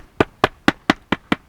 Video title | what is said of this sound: WHEN Renovation Plans Go Wrong: Our Barn Conversion Story | the reason we know it's blown is listen to this see how it sounds Hollow